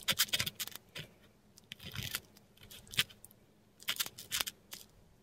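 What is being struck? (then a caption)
Metal dip pen nib on paper. A metal dip pen nib scratches and drags across a flat sheet of textured Korean paper while writing. Quiet, bright, crisp scratches come in quick clusters with short pauses between strokes. A couple of longer, rougher drags stand out.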